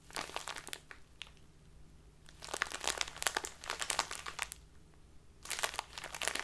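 A small plastic bag full of loose tea is squeezed in both hands, then turned and crinkled with the nails. Bright, crisp crinkling comes in three bursts of rapid crackles, separated by quieter pauses. The middle burst is the longest and loudest.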